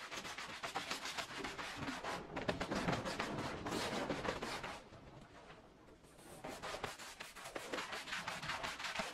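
A small oval red fringed woven fabric rug lies wet and foamy on the floor and is scrubbed with a green plastic-bristle push broom. The steady, rapid scrubbing makes a dense, rough rasping, with strokes overlapping too closely to count. Around the middle the scrubbing softens and fades briefly before returning at full strength.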